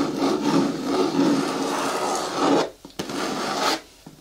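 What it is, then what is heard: Hard plastic caddy bin scratched with nails. Long nails scratch and rub the lower walls of a hollow, hard green plastic caddy bin with a lid and handle, making a dry, raspy scraping with a midrange hiss. A long stretch of continuous rubbing drops away, a brief sharp tick sounds, then a shorter burst of scratching fades to near silence.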